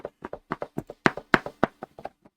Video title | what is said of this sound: MSQC Unboxing December 21-25, 2025 | Rattles like an Amazon box. It's a big box with a little thing. >> With a little thing in it.